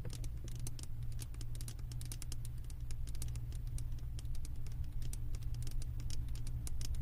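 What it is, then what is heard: Glass candle jar. Long nails tap and scratch the glass bottom and lower edge of a glass candle jar full of wax that is held up. Rapid, irregular, bright ticks and scrapes sound over a steady low hum throughout.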